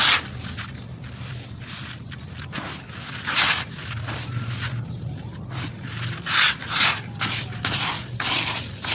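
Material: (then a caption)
Sand. A hand breaks up and crumbles a large wet clump of coarse, damp tan sand in a white plastic bucket, rubbing the grains into the pile. The result is a bright, gritty crunching and scraping with a low background hum, rising in irregular louder bursts as the clump gives way.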